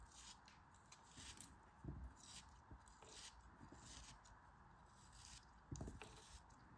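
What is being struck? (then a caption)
Kinetic sand cube. A small, solid beige kinetic sand cube, held between fingertips with long red nails, is cut and scraped with a utility knife blade, crumbling the sand. Quiet, gritty scraping and soft crunches come with faint low thumps and bright, sandy hiss, and the sand breaks apart as it is sliced.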